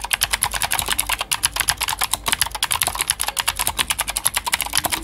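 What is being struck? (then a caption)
Plastic mechanical keyboard. Fingertips of both hands type rapidly on a full-size white Glorious GMMK White Ice mechanical keyboard with plastic keycaps and clicky Gateron Blue switches. Dense, bright, crisp clicks follow one another in quick succession, each dying away almost instantly, with very little low end.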